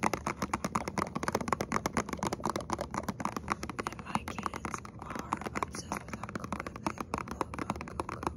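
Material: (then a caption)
Cardboard. A small printed cardboard box with a clear plastic window, holding a hot chocolate bomb, is held in both hands and tapped and scratched with short fingernails and fingertips. Rapid, dry, crisp clicks and taps run steadily over a soft scratchy rustle, each one stopping almost instantly.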